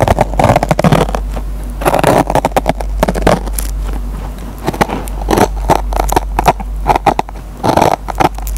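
A metal pen tip picks and scratches at the fibers of a dry kitchen sponge's green nylon scouring pad. Dense, crackly scrapes come in quick irregular bursts, with a mid-range rasp around 700 Hz over a steady low hum. Each scratch stops almost at once with no ring.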